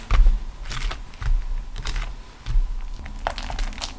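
A folded beeswax-coated cotton food wrap, a waxed cotton sheet with a vegetable print, lies flat on a grey table and is pressed, rubbed and crinkled with fingertips and long acrylic nails. Soft, dull thumps of handling mix with short, bright crackles and crinkles that come in repeated bursts. The sound is close and mostly low, with quick sticky snaps that die away fast.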